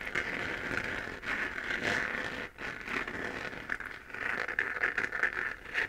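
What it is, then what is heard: 3D-printed plastic moon lamp being scratched. Long nails scratch across the crater relief of a hollow, glowing 3D-printed plastic moon lamp sphere. The result is a steady, dry, crackly scraping with a bright midrange hiss centred near 1.8 kHz, with a brief lull around the middle before the scratching picks up again.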